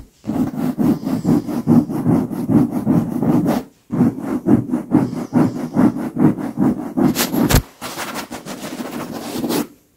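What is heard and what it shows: Very long pink acrylic nails on lace-gloved fingers scratch and rub the surface of a large, soft, filled and cushioned white leather pillow. The result is a steady, rhythmic run of soft, muffled scraping strokes, with a brief pause near four seconds and a couple of brighter, sharper scratches around seven seconds. The strokes then turn quieter and lighter before fading out at the end.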